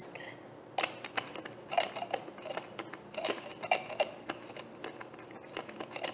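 Fingers and nails twist the cap of a medium, opaque white plastic bottle that is hollow and tap on the bottle. A quick, irregular series of sharp, bright clicks and taps rises from a faint, steady hiss, each one dying away almost instantly.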